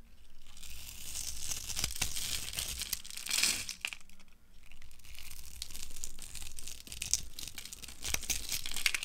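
A utility cutter blade carves grid cuts into a hand-sized solid bar of dry orange soap held in the hand, then scrapes them off as crunchy flakes. The result is a steady run of bright, dry crackling and crunching scrapes, with a brief lull around the four-second mark before the scraping resumes.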